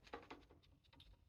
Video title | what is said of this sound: what to look for in saya fit | you can hear a little bit of Rattle